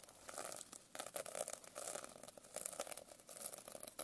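A silver pen tip scratches and taps quickly across the rainbow sequin cover of a medium hardcover notebook lying flat. The result is a quiet, dense run of crisp, bright clicks and rasping scrapes with almost no low end, each tick dying away almost at once.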